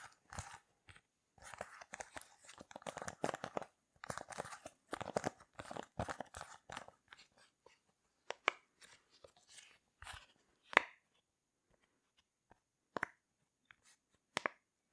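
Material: Silicone.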